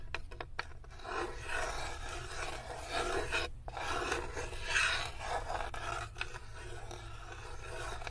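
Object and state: Wooden tray scraped with nails.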